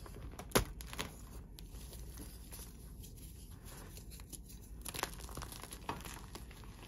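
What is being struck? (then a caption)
Gym chalk block. Fingers snap a solid white slab of gym chalk sitting in chalk powder, then crush the fragments and pour them. A sharp crack early on gives way to quiet, gritty crumbling and crinkling, with a few brighter crunches near the end.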